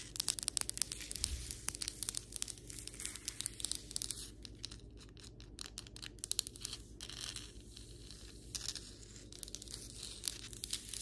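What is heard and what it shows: Long white acrylic nails on both hands tap and scratch across flat, solid ceramic floor tiles. The result is a dense run of sharp, bright clicks and dry, crinkly scraping over a faint, steady low hum.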